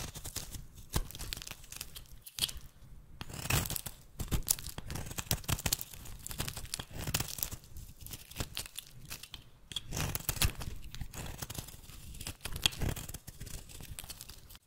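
A metal blade held in the fingers scrapes and cuts dry, brittle chips off a solid golden bar of rancid soap with an embossed logo. The result is a steady run of crisp, tearing, crackling scrapes with bright hiss and low thuds, broken by short pauses and a few louder bursts.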